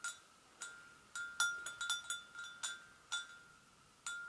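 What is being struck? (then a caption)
Porcelain gravy boat. An empty, medium-sized, hollow white porcelain gravy boat is tapped on its rim with the long acrylic nails of both hands. The result is a quick, uneven series of light clicking taps. Each tap rings with a clear, bell-like tone near 1.4 kHz and bright overtones that fade within a fraction of a second.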